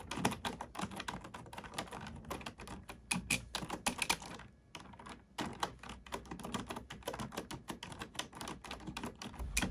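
Both hands type on a black plastic computer keyboard with fingertips and nails, producing a steady stream of quick, bright clicks and clacks with short ringing tails. The typing pauses briefly just before the midpoint, then resumes at the same rapid pace.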